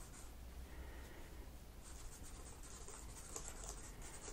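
A cotton swab is scraped between the black plastic keys of a laptop keyboard, making a steady run of many small, dry scratches. The sound stays quiet over a low hum, and it gets denser and brighter in the second half.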